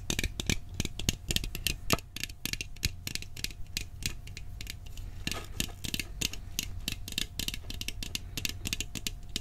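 Fingernails rapidly tap and scratch the side of a hollow, round blue steel cookie tin, producing a dense run of short, bright metallic clicks that die away almost instantly. A low hum and a faint steady tone run underneath the whole time.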